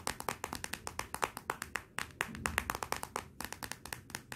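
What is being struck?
Glass smartphone back.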